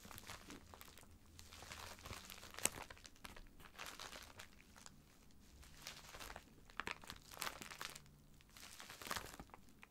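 A filled white plastic poly mailer bag lies flat while both hands rub and scratch it with fingertips and nails. The result is a steady, bright crinkling of the plastic with scattered sharper crackles.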